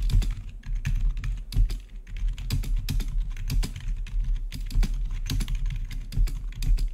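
Fingertips of both hands type rapidly on the keycaps of a full-size black plastic membrane-style gaming keyboard with blue-to-red RGB backlit keys. The result is a dense, continuous stream of short, soft clicks and taps with a dull low thump under each press. Bright transients flick briefly above the steady low rumble.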